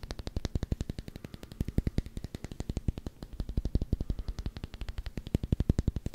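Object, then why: Rubber hockey puck. A solid black rubber hockey puck with a Canucks logo is scratched and tapped quickly with short fingernails. The result is a rapid, uneven stream of dull, low thuds with almost no ring, over faint scratchy texture.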